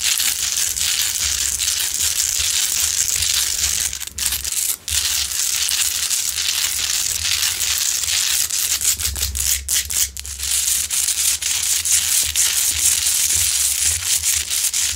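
Long nails scratch all over a large, solid, rough pink Himalayan salt crystal rock lamp that is lit. The result is a continuous, dense, bright, gritty scraping and rasping with almost no low end, broken only by brief dips in loudness.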